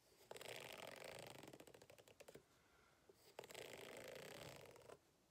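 A white plastic fork held in the hand scratches across the ribbed surface of a medium-size green rubber hot water bottle, which lies flat on a table, hollow and apparently empty. Two long scratching passes produce a dry, bright rasp with rapid ratchet-like clicks as the fork runs over the ribs. The first pass breaks into separate ticks before it stops, followed by a short pause and a steadier second pass.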